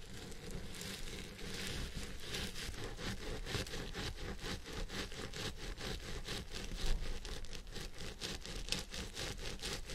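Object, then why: Synthetic fiber wig. Fingertips and nails of both hands scratch the fibers at the top of a purple synthetic wig on a head form. The result is a steady, dense, scratchy rustle of rapid, bright strokes over a low, constant rumble, holding an even level for the whole clip.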